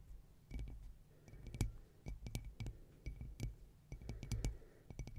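Long painted acrylic nails tap and scratch the tiled surface of a round, hollow tea-light holder covered in dark green/black and white crackle mosaic glass tiles, held close up. Quiet, irregular bursts of sharp, bright clicks with a faint glassy ring sit over soft scraping and a low rumble.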